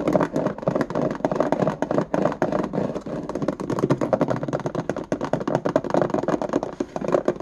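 A small, hollow, empty index card box with a ribbed white plastic lid and a clear plastic base is held in both hands and tapped and scratched with fingertips and nails on the lid and base. The result is a fast, continuous stream of dry, clicky taps and raspy scratches with a hollow midrange tone around 600 Hz. Each hit dies away almost at once.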